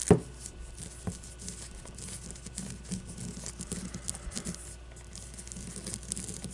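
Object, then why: Leather baseball. Long nails scratch and tap a solid leather baseball with red stitching resting on a table. A soft, continuous crinkly scratching with light tapping runs throughout, starting with one sharper tap. A low, steady hum sits underneath.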